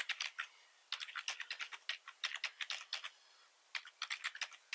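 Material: Plastic.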